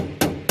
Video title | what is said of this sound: Landau boot floor install | so if you've done a weld and it sounds like that it's not holding